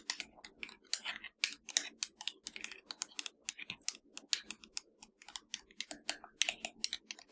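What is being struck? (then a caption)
Plastic game controller. Long nails tap quickly across the buttons and hollow shell of a black plastic PS4 controller. The result is a rapid, irregular stream of sharp, bright clicks that stop dead with no ring.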